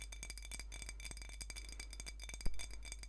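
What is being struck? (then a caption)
Small glass drink bottle. Long nails tap and scratch a small glass soda bottle with a metal cap and a colorful label, full of dark liquid, held close. Quick, light ticking clicks and scratchy rasps run throughout over a steady low hum. One sharper, louder clink comes near the end before the soft tapping resumes.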